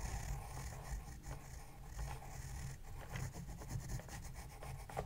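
A pencil is drawn across the page of an open spiral-bound paper sketchbook in a scratching, writing motion while the other hand holds the book steady. The result is a soft, continuous scratching and rubbing with a low rumble underneath and brief, brighter strokes.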